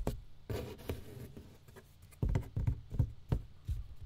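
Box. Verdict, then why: Empty. An empty box is tapped about eight times in an irregular rhythm. Each tap is a short, dull, low thud that dies away almost at once.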